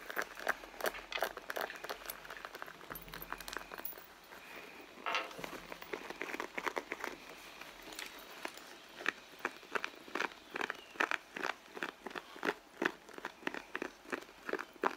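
Long blue nails scratch and rub the pebbled surface of a medium red leather handbag that is hollow and soft. The result is a dense run of quick, dry, crinkly scratching strokes with bright detail. The strokes come in an irregular rhythm, with a softer, smoother rubbing stretch partway through.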